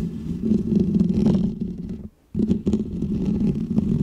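Medium painted fingernails scratch a small round white textured foam windscreen on a microphone, making a dense, muffled, rumbling scratch centered low around 200 Hz. The scratching stops for a brief silent gap just after two seconds, then resumes just as thick and steady to the end.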